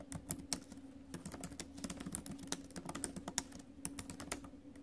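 Fingertips and acrylic nails tap the plastic keys of a silver metal laptop keyboard in quick, steady typing. Sharp, bright clicks sit over a faint low hum.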